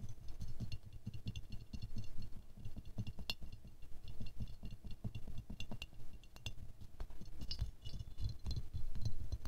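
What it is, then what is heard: Ceramic rose figurine. A small silver-glazed ceramic rose ornament is tilted in the hands while fingernails tap its underside and petals. The result is a steady stream of short, dull taps with a low, muffled body and faint bright clicks. Each tap dies away almost at once.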